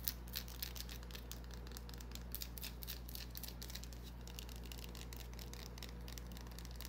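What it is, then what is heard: Bar of soap. Long nails scratch a small, solid white bar of soap with an embossed pattern, making quiet, rapid, irregular bright scratches and soft clicks. A steady low hum runs underneath the whole time.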